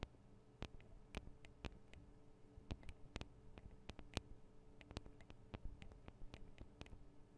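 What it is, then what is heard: Recorder microphone capsules tapped with fingernails. Long acrylic nail tips from both hands tap rapidly on the metal and plastic microphone capsules of a Tascam DR-40 recorder. The result is a quick, irregular run of sharp, very short, bright clicks over a quiet, steady low hum.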